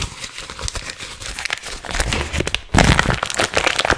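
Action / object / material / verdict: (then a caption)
shake / plastic film candy wrapper / plastic film / none. Hands quickly crinkle and crumple a small, soft, hollow gum packet made of green printed plastic film. It gives a dense, bright crackling that grows noticeably louder and fuller partway through.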